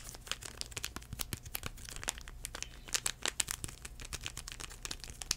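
Fingertips scratch and crinkle a small sealed United CleanPlus sanitizing wipe sachet made of foil-paper. It makes dense, bright crinkling and crackling with quick, dry scratchy snaps, over a faint steady low hum.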